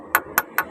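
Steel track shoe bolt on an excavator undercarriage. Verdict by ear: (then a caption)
Tight. A hammer strikes the head of a steel track shoe bolt on the undercarriage of an SK200-8 excavator three times to check its tightness. Each blow gives a short, bright metallic ring centered near 1.5 kHz that fades quickly. The clear ring indicates the bolt is tightened to standard.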